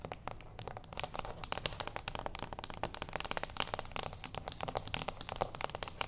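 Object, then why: Small closed cardboard box. A small, flat, closed cardboard gift box resting on a wooden table is tapped and scratched with long acrylic nails. Quick, dry clicks and taps land in a steady, dense stream over a soft scratching rustle, with a hollow tone around 540 Hz and bright, crisp edges. Each tap dies away almost instantly.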